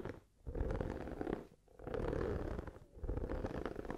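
Long nails and fingertips scratch and rub the dotted textured surface of a hollow, light blue silicone oven mitt held up close. The sound is a dense, low, rumbling scrape that comes in three long passes separated by brief quiet dips.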